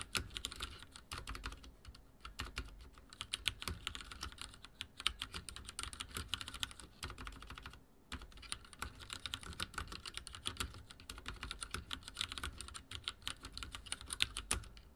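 Fingertips of both hands type rapidly on a full-size backlit mechanical keyboard with dark plastic keycaps and linear switches, resting on a wooden desk. A dense stream of short, dry, bright clacks comes with a soft low thump under each press, broken by brief pauses near 2 and 8 seconds.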